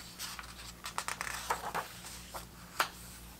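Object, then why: Paper pages of a hardcover book. Fingertips glide across and turn the thick vintage paper pages of a large, open 1970s hardcover soccer book. Soft dry scratches and brushing rustles come in quick irregular bursts, ending with a sharper crisp flick as a page turns. A faint low steady hum sits underneath.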